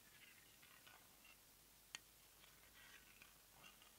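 A single sharp, bright tap on the lavender plastic lid of a small round plastic cosmetic jar, likely filled with product, struck with long nails. The click is very short with almost no ring, set against a quiet background of faint, soft rustling.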